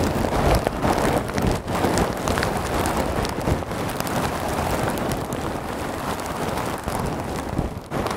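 Hands lift, squeeze and scratch a large clear plastic bag full of small white polystyrene foam beads with their fingertips and nails, close to the microphone. The result is a dense, continuous crackling rustle with a heavy low-to-mid body and a little high hiss. The sound holds steady throughout, with only brief dips.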